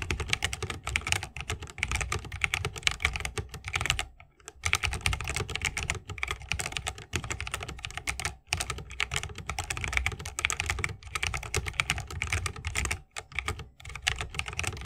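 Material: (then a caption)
Plastic. Fingertips of both hands type fast on a 60% mechanical keyboard with plastic keycaps on Holy Panda tactile switches, set in a solid bamboo wooden case with RGB lighting and resting on a wrist rest. A dense stream of short, bright clacks with a low thock underneath runs throughout, broken by brief pauses near 4, 8.5 and 13 seconds.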